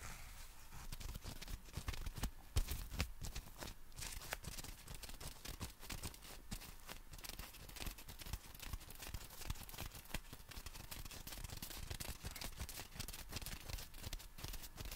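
A small folded compact umbrella with a black nylon canopy wrapped around metal ribs is held horizontally in both hands while fingertips and short nails tap and scratch the fabric. Dense, quiet crinkly scratching and soft taps continue throughout, with a low rumble underneath and a bright papery hiss on top.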